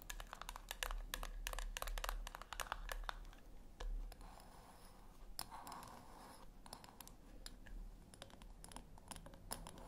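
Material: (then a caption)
Metal. Long nails scratch the top of a small round silver metal tin, or puck, resting on a white cloth, then scratch along its rim edge. The sound is a quick series of sharp, bright scratches and ticks over a low hum, with a softer, hissier stretch of rubbing in the middle.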